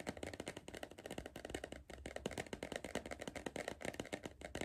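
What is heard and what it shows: Fingertips tap rapidly on the side wall of a hollow green cardboard Pringles crisp tube held upright. The result is a quick, steady run of soft, dry, hollow taps with a low body tone around 200 Hz and a faint bright edge. Each tap dies away almost instantly.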